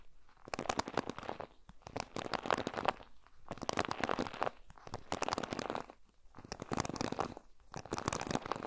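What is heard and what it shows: Fingertips and nails stroke and pluck along the pin bristles of a black plastic paddle hairbrush held in front of a Tascam recorder. The result is a crinkly, scratchy crackle in repeated bursts, each lasting about a second, separated by short quiet gaps.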